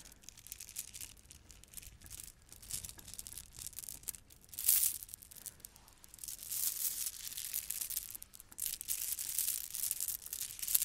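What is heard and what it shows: A handful of gold plastic beads from a bead garland is squeezed and shaken in one hand with long red nails. The beads clack in a dense, bright, hissy rattle with almost no low end, with a sharp burst near the middle and louder stretches toward the end.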